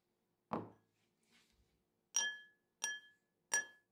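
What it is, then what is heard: Drinking glass tapped with a spoon. A metal spoon taps a drinking glass four times: a duller first knock, a faint soft rustle, then three clear, bright glass clinks that ring briefly around a steady tone near 1.7 kHz.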